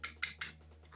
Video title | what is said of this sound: Mantaaap nih Diecast Land Cruiser nya Trends Hobby... | ini kalau diketok-ketok ini kokoh ya